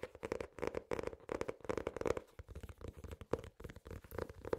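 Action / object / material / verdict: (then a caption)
tap / hardcover notebook cover / board / none. An ornate hardcover notebook with an elastic strap has its cover tapped and scratched with fingernails and fingertips. A rapid, uneven series of dry, crisp taps and scratchy bursts sounds over a mid-toned resonance, with each stroke dying away almost instantly.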